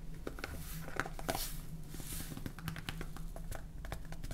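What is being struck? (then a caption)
Plastic salt jar with plastic cap. Long painted fingernails tap on a clear plastic salt jar full of salt, with a red plastic cap and a blue label. A rapid series of short, dry clicky taps sits over a steady low hum that carries most of the sound.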